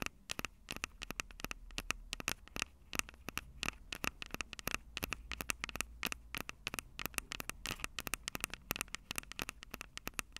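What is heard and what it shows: Long acrylic nails tap and scratch rapidly on the mic capsules of a Tascam DR-05 handheld recorder, with a plastic body and metal mic grilles. Dozens of sharp, dry, bright clicks land close together, each with a faint tone around 2.7 kHz, over a steady low hum and a soft scratchy hiss.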